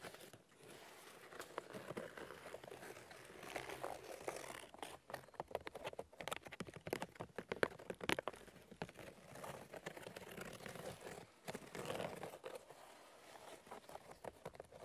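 Fingernails tap and scratch the white bark of a large, solid birch log. The result is a quiet, dense run of dry, crinkly scratching with many short, sharp taps, centred in the midrange with little low end.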